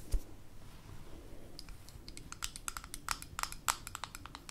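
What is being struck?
Small glass jar with metal screw lid.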